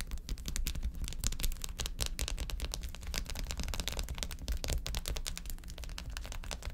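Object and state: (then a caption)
Filled plastic ice pack sheet. Long acrylic nails tap quickly across a filled, flat blue plastic ice pack sheet of quilted cells lying on a table. The result is a dense, steady stream of sharp, bright clicks over a low, dull thudding that runs throughout.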